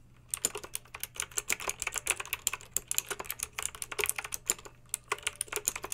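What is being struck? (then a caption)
Plastic mechanical keyboard with round keycaps. Long pink acrylic nails type quickly on a pink mechanical keyboard with backlit round plastic keycaps. The result is a steady stream of bright, crisp plastic clicks and clacks, each dying away almost instantly, over a faint low hum.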